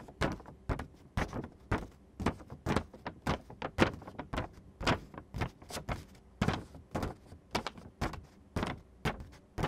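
Fingertips and nails scratch and rub across a thin sheet of printed glossy photo paper showing a chocolate-covered fruit image. The result is a loosely rhythmic series of short, dry, broadband rasping strokes, each ending quickly with little ring.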